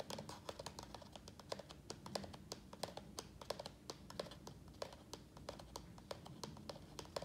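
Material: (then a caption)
Plastic. A small, thin-walled black plastic nursery pot, full of soil with a prayer plant in it, is held in both hands and tapped quickly on its side with the fingertips. The result is a rapid, irregular stream of short, dry plastic clicks with a hollow tone around 590 Hz and bright edges, each dying away almost instantly over a steady low background rumble.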